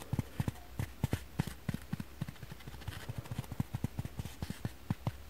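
A dry kitchen foam sponge is tapped with fingers and nails, giving a quick, uneven series of about nineteen soft, dull taps over a faint steady hum. Each tap is low and muffled, with almost no high end, and dies away instantly with no ring.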